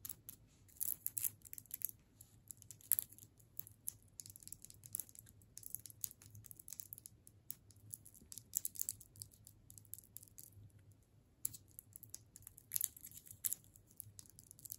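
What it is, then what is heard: Wrapped hard candy cane. Long nails tap and scratch a solid hard sugar candy cane wrapped in clear plastic, making quiet, crisp crinkly clicks and scrapes in quick irregular bursts. The sound is bright and sharp with almost no ring, over a faint steady low hum.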